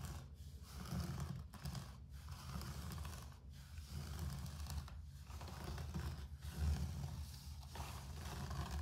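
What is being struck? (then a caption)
Low-pile carpet floor. Fingertips and nails scratch back and forth across a low-pile grey carpet floor. The result is a soft, continuous rasping hiss over a steady low rumble, with brief quiet gaps between the strokes.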